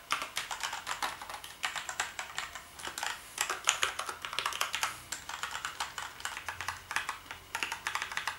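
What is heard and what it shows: Fingertips type across the keys of a black plastic gaming keyboard. The result is a steady run of quick, bright, clacky key clicks with almost no low end, each dying away instantly, broken by a few brief pauses.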